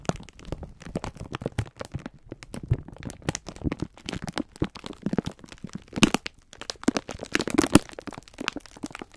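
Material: Plastic film.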